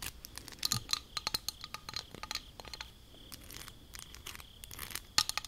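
Long acrylic nails tap and scratch a teal, squeezable, hollow plastic lotion tube, presumably filled, held in both hands. The result is a rapid, irregular run of sharp, bright clicks and scratchy rasps with a faint high ringing tone, pausing briefly midway before a final burst of louder taps.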